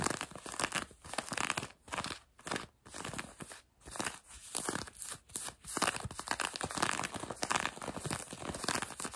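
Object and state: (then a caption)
Denim jeans fabric. Long nails scratch quickly over light blue denim jeans stretched across a knee. The result is a dense, dry, rasping scrape of fabric with a bright, hissy edge, coming in rapid bursts separated by brief pauses at a fairly low level.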